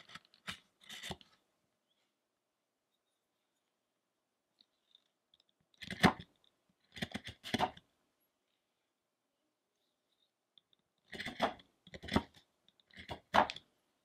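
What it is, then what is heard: Wooden statue being carved. A metal chisel carves and scrapes near the chest of a large, solid wooden sculpture of the fasting Shakyamuni Buddha lying face up, while the other hand rests on the face. Short bursts of dry, crunchy scraping and clicking come in clusters separated by quiet pauses, with bright, crisp edges and little ring.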